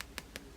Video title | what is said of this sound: New Aliexpress doll haul 2nd wave Paola Reina fake Blythe like remake review unboxing 36cm vinyl | it's a good thick vinyl it's solid